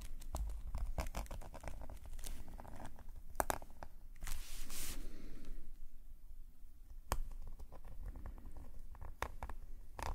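A metal calligraphy nib scratches repeated short hatching strokes across a black paper sketchbook page. Quiet, dry scratches tick and rasp in quick succession over a low background rumble. A longer, brighter scrape swells midway before the short strokes resume.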